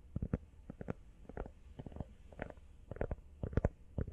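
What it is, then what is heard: Rubber phone case. Fast, irregular tapping on a rubber iPhone case produces dull, low thuds with almost no ring. The taps come in short clusters of about 17 distinct hits over four seconds.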